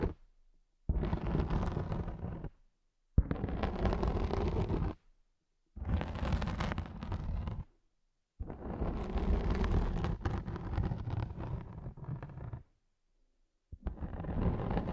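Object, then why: Felt pad. Long nails scratch the center of a large round grey felt sheet lying flat, producing deep, low rumbling scrapes. There are five separate bursts of scratching with short silences between them; the last is cut off at the end.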